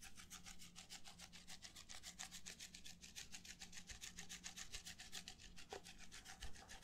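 Fingertips and nails rub and scratch the side of an empty, hollow red plastic party cup held up close to a microphone. Quick, uneven scratchy strokes repeat steadily with a bright, raspy texture. The scraping stays soft and close throughout.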